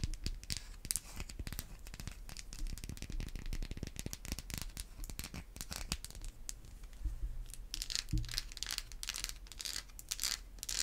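A solid, hand-sized white bar of Irish Spring soap, held in the hands with one end partly hidden, is scratched and tapped with long white acrylic nails. Dense, crackly scratches and quick, dry clicking taps run throughout, with bright, crinkly edges and soft low thumps. The brief taps cut off almost instantly with no ring.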